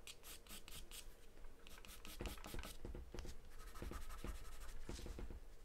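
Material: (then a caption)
Paper. A graphite or charcoal pencil held in the hand scribbles and shades across a large white paper sheet taped flat to a dark surface. Quick, dry, bright scratching strokes come in bursts over a steady low rumble, with rubbing shading passes in between.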